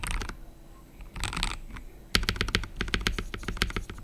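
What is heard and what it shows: Fingertips of both hands type steadily on an assembled KBD67 Lite R3 65% mechanical keyboard with a plastic case, plastic keycaps and RGB backlight, resting on a wooden desk. Short bursts of keystrokes give way, after a brief lull, to a quick, continuous run of sharp clacks. Each keypress has a bright click over a low, thocky body.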